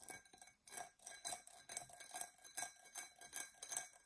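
Long nails scratch the sides and base of an empty, hollow, dark purple embossed tinted glass tumbler. Quiet, irregular, scratchy strokes repeat in quick succession, each bright and airy with a faint glassy tone underneath and almost no low end.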